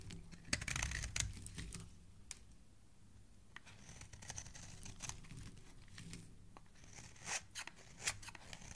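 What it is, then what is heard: Bar of soap being carved. A metal blade scrapes the face of a solid, palm-sized red bar of soap held in the hand, shaving off ridges and flakes. Irregular, crisp scraping and crackling strokes come in uneven bursts with bright edges over a soft low rumble, each stroke ending quickly with almost no ring.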